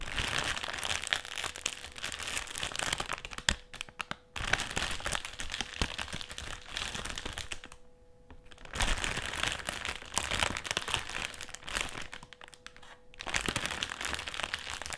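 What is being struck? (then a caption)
Metallised plastic crisp packet. Fingertips scratch and crinkle the surface of a black, foil-lined metallised plastic crisp packet lying on a table. The result is dense, bright, crackling crinkles in bursts, with brief quiet pauses around 4 and 8 seconds.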